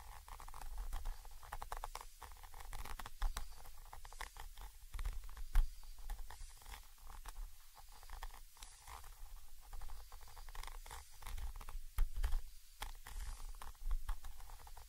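The tip of a thin orange stick scratches and taps the small cylindrical metal mesh grilles of a Zoom H5's X/Y microphone capsules. Close, dense scratching and quick taps come through mostly as low, boomy thumps and rumble, with only a faint thin rustle on top. A few sharper knocks stand out from the steady patter.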